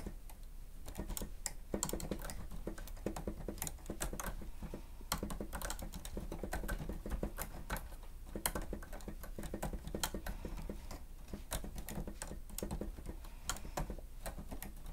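Both hands press the keys of a grey plastic stenotype machine with a screen, typing rapidly with fingertips and nails. A dense run of short, bright plastic clicks and taps plays over a steady low hum throughout.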